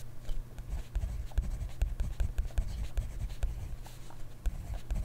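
A ballpoint or gel pen writes steadily across an open grid-ruled paper notebook lying flat on a desk, its tip scratching over the paper. The sound is a quiet, continuous run of short, dry strokes and taps, with soft low thuds as the pen presses down and faint high scratch detail on top.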